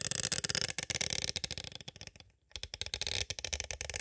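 Two thin green-handled tools tap and trace across a small, hollow, clear hard plastic cassette tape case. The result is rapid, dry, bright clicking and scratching with almost no ring. The sound pauses briefly just after the midpoint, then resumes at the same quick pace.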